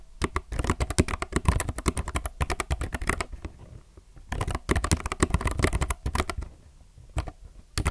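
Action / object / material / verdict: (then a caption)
tap / low-profile mechanical keyboard, plastic keycaps / plastic / none. A low-profile mechanical keyboard with plastic keycaps is typed on with the fingertips of both hands. Rapid bursts of short, crisp clicks and clacks with a deep, thocky low end stop briefly near the middle and again toward the end.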